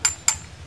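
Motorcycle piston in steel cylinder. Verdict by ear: Loose.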